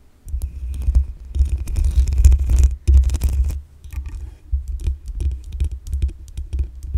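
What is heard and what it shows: Long acrylic nails scratch the black metal mesh grille on the hollow head of a desktop condenser microphone. The result is a dense, low, rumbling scrape with a throbbing boom near 66 Hz and faint bright ticks, pausing briefly near 2.8 seconds and dipping quieter around 4 seconds before resuming in uneven bursts.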